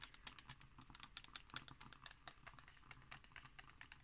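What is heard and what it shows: Long green nails tap and scratch on a glossy illustrated page of an open magazine lying flat. A quiet, rapid run of crisp, bright clicks and papery scratches follows, each tap dying away almost instantly over a faint low background.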